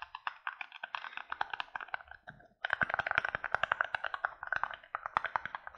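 A small, empty, thin-walled white plastic cup, held above the face in both hands, is tapped and scratched quickly with fingertips and nails. This makes a rapid stream of short, dry, hollow clicks centered in the midrange with brief scratchy textures, pausing for a moment before resuming at a steady, busy pace.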